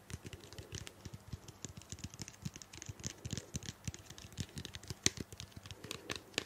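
A small, hollow purple-blue plastic shampoo bottle, held in both hands close to the microphone, is tapped and scratched with long painted nails. A steady run of quick, dry plastic clicks and taps has bright scratchy edges and soft hollow low thumps, with one sharper, louder tap near the five-second mark.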